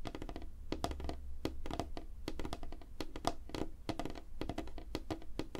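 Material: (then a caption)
Wood. Both hands tap quickly on a flat, solid, light-colored wooden table surface under a spotlight, using fingertips and short nails. The result is a fast, dense patter of dull wooden thunks, each dying away almost at once, with faint clicky nail ticks over a steady low rumble.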